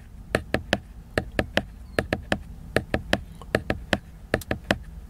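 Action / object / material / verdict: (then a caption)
tap / laminated cardboard hardcover book / cardboard / none. Fingertips and nails tap and scratch the cover of a large, solid, flat, laminated glossy cardboard hardcover book. About twenty short, dry, clicky taps come in an uneven rhythm, each bright and dying away almost at once. Faint scratching fills the quiet between them.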